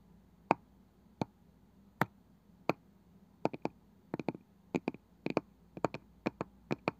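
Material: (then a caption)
Wood. Fingertips and long nails tap and scratch the pale wooden lid and rim of a palm-sized round wooden box with a woven side. Nineteen short, dry clicks sound, spaced singly at first and then in quick pairs and triplets, each dying away almost instantly over a quiet background.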